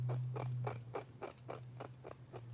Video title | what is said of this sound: Mail Call! 3 Boxes Received | it's got a glassy, sandy sound. Shale. Sounds like shale.